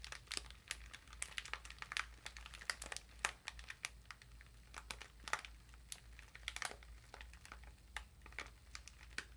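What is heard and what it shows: A small exfoliating body sponge sealed in a thin clear plastic wrapper is held in both hands while the wrapper is slowly squeezed and crinkled with fingertips and long nails. Sharp, bright crackles and crinkles pop out in quick irregular bursts, each snapping off almost at once. A faint steady low hum sits underneath throughout.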